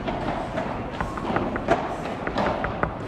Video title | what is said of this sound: 🔥 ASÍ ES el MEJOR CLUB de PADEL del MUNDO *ULTIMATE PADEL NIVEL WORLD PADEL TOUR* - el4Set | sur le court principal, rien ne sonne